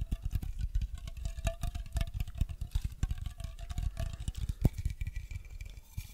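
Fingertips and nails tap and scratch a hollow green aluminium aerosol spray can held close to the mic, first horizontally and then upright. Rapid, dense taps make dull low thumps with a faint metallic ring around 650 Hz, while light scratching adds soft, thin high texture between them.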